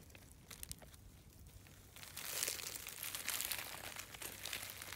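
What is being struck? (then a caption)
Layered shale rock flakes. A hand wearing a bead bracelet pushes its fingertips into the loose, brittle flakes of a large solid outcrop of layered grey shale, scratching and crumbling them. Soft, sparse crackles in the first two seconds build into a louder, dense, bright crunching and crinkling as small pieces break away and fall.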